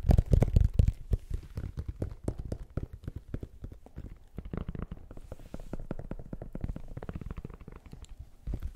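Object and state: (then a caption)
Sneaker tapped and scratched by fingertips. A single black and gold Nike Air Max 2090 running shoe, with a metallic synthetic upper, rubber outsole and hollow, empty plastic air unit, is held in the hands while fingertips and nails tap and scratch its upper and tread. The result is a rapid, irregular stream of short, dull, low-pitched thumps with faint scratchy texture and almost no ring. The taps are loudest and boomiest at the start, then settle into softer, steady tapping.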